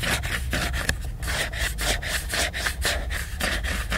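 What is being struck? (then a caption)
Laminated paper book cover. Fingernails scratch back and forth across the glossy laminated paper cover of a large picture book. The result is a steady run of dry, bright scraping strokes at about two per second, slightly uneven, over a low constant hum.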